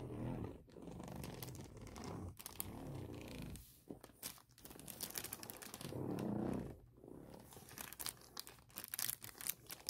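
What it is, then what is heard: Plastic packaging bag. A clear plastic Mosiso case bag printed with a suffocation warning lies flat with the case inside while a hand and long nails rub and scratch the thin plastic. It crinkles and rustles in quick, uneven bursts with soft low swishes and sharp bright scratchy ticks.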